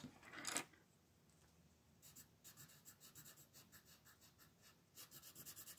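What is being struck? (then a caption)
Wooden colored pencil on thin paper. A red wooden colored pencil rubs in shading strokes over a thin paper coloring book page on a table, while the other hand's long nails rest on the page. A louder papery rustle opens the clip, then a brief quiet, then about thirteen soft, bright, scratchy strokes follow in a steady rhythm, quickening near the end.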